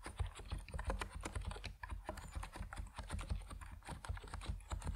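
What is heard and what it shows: Fingertips of both hands type rapidly on an Epomaker NiZ Plum Atom 68, a 68-key compact mechanical keyboard with white and purple PBT plastic keycaps resting on a wooden desk. A dense, continuous run of short, deep keystroke clacks follows, each decaying quickly with a little brighter click on top.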